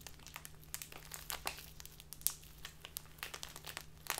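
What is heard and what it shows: A small crinkly plastic bag filled with tea is handled and crinkled with fingers and long dark nails. Quick, bright, dry crackles and rustles come in a steady stream of short bursts over a faint low hum.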